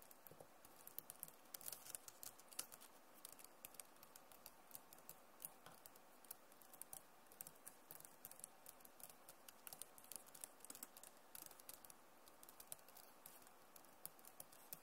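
Long nails type fast on the keys of a backlit plastic laptop keyboard, producing a steady stream of quiet, sharp clicks and taps with a bright edge. Each tap dies away almost instantly, over a low hiss.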